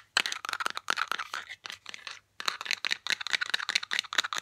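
Long nails rapidly tap and scratch the body and white plastic cap of a Batiste aluminum dry shampoo aerosol can. The result is a fast run of bright, dry clicks and scratchy bursts with no ringing tail, broken by a brief pause before the tapping resumes.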